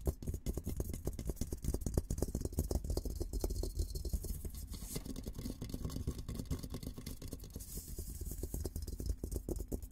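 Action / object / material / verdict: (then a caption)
scrape / steel military helmet / steel / none. Fingertips and nails scratch the dome of a hollow, olive-green painted steel military helmet held in both hands. The result is a steady, dense stream of quick, dry scratching strokes with a dull, hollow low rumble underneath and a faint airy hiss up high.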